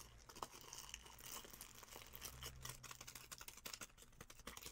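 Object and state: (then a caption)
Cellophane bag of dried food. Fingers with long painted nails squeeze, crinkle and tap a clear cellophane bag full of dark dried food. The result is a quiet, bright, crackling rustle dotted with a rapid run of short, sharp ticks and taps over a faint low hum.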